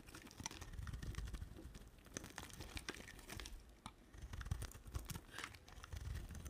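A solid white bar of soap with a pink-red rim and an embossed face is shaved with a utility knife blade. The result is a steady run of quiet, dry scraping and crisp crinkly shaving sounds, with a low rumble underneath.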